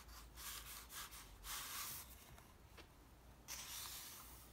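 Fingertips and palm rub and stroke the thin printed pages of an open softcover paper comic book lying on a table. It makes soft, bright swishing strokes in uneven bursts over a quiet low hum.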